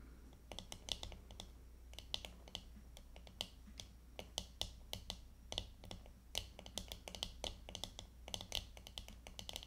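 The back of a glittery plastic hairbrush lying face down is tapped rapidly with the long fingernails of both hands. Quick, sharp, bright clicks come in uneven bursts, each dying away almost instantly, over a steady low hum.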